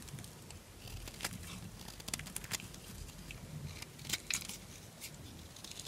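A small knife scrapes a solid green bar of dry soap held in the palm, shaving off crunchy flakes. Bright, crackly scraping bursts come in quick irregular strokes over a faint low rumble, with a few sharper crunches standing out.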